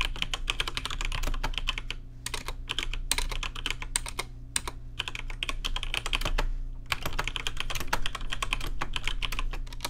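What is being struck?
Mechanical keyboard with plastic keycaps.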